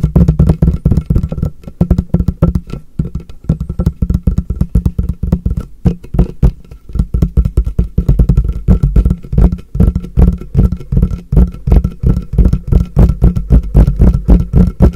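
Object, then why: Polypropylene storage box. Fingertips tap rapidly and continuously on the sides and edges of a medium, frosted, translucent MUJI polypropylene storage box that is hollow and appears empty, held with its open side toward the recorder. Each tap gives a deep, boomy, hollow thud that dies away almost at once. The quick pattering carries on steadily for the whole clip, with a faint, thin ringing tone above it.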